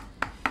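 Two sharp knocks on the plastic casing of an Acome A16 Bluetooth speaker give short, dry taps that fade almost at once. The casing sounds solid.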